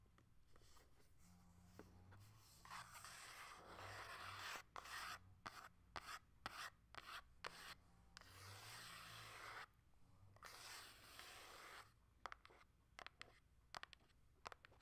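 Long nails tap and scratch across the surface and edges of a small, still-sealed cardboard Nintendo Switch Lite box. Stretches of steady, raspy rubbing alternate with quick, dry taps that stop sharply with no ring.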